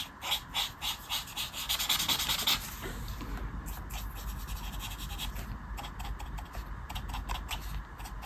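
A marker tip scratches back and forth in short strokes across a flat paper colouring book page lying on a table. Bright, dry scratchy strokes come in quick bursts that are loudest over the first few seconds, then settle into softer, steadier rubbing over a low background rumble.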